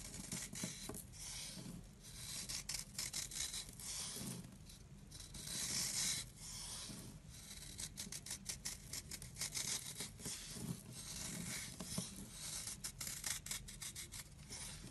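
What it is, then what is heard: Dry soap block being scraped. A blade scrapes a hand-held oval block of solid, dry, chalky light-blue soap, flaking it into powder. Quick, bright, rasping scrapes repeat steadily throughout, with occasional longer, louder drawn strokes and soft crumbling between them.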